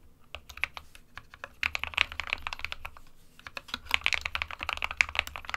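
Fingertips of both hands type steadily on an SK61, a small 60% white plastic-cased mechanical keyboard with plastic keycaps resting on a desk mat. Quick, bright plastic clacks run in dense bursts over a faint low thud, with a short lull in the middle before the typing picks up again. Each keystroke is sharp and dies away almost instantly.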